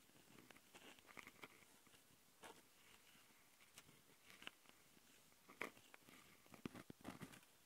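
Long fingernails on both hands scratch the plastic mic capsule housings of a handheld Tascam audio recorder. The result is a quiet, steady rasping with many short, bright scratchy bursts and a few sharper clicks spread through the clip.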